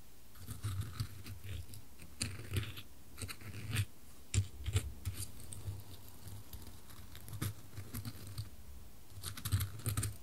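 Small dry wood chips in a wooden bowl are stirred and scooped with a wooden spoon while a gloved hand holds the bowl. Quiet bursts of crisp, bright rustling and light clicking rise over a steady low hum, with brief louder clusters as the chips shift and tumble.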